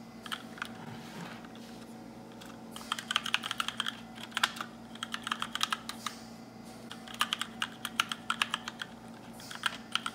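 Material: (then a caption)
Plastic. Fingertips with short nails type on a compact black RGB mechanical keyboard with plastic keycaps, producing bright, crisp key clicks that come in bursts of fast typing separated by quieter pauses. A faint steady hum sits underneath.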